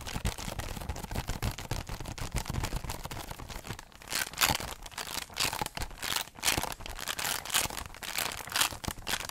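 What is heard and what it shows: Pink nails rapidly scratch the hollow bottom of a holographic foil-covered cardboard heart box. A dense, crinkly scratching runs throughout, with low hollow thumps in the first half. It then shifts to brighter, louder bursts of scraping.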